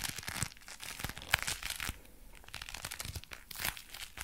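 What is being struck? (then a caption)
Leather gloves. Dark brown leather gloves are worn on both hands while the fingers flex and the gloved hands rub together. The leather gives off a dense run of bright, crackling creaks and crinkles, with sharper peaks near 1.3 s and 3.7 s and a quieter stretch in the middle.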